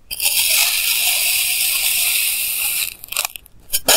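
A clear plastic knife held in hand slices thin layers from a solid block of pink kinetic sand, recorded up close with a clip mic. A steady, bright, hissing scrape runs for nearly three seconds as the blade cuts through, followed by a few short, crisp crunching bursts near the end.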